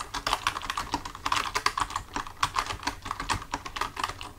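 Both hands type with their fingertips on a full-size black plastic computer keyboard resting on a desk; its keys are solid with hollow housings. The result is a rapid, uneven stream of short, dry clicks with a bright, clacky tone centered near 1.2 kHz, each tap dying away almost instantly.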